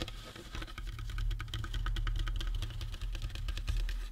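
Fingertips tap quickly along the sides of a life-size painted resin or plastic skull prop, likely hollow, then tap and scratch the top of the cranium. The result is a dense stream of light, bright clicking taps with some scratchy texture, sitting over a steady low hum.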